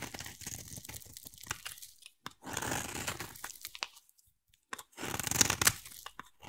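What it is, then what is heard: Bar of soap being carved. A utility knife blade scrapes a solid oval green bar of soap, shaving off curls as the same bar thins with each cut. Crisp, bright rasping strokes come in uneven bursts, separated by short silent pauses.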